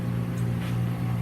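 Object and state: Nothing is struck.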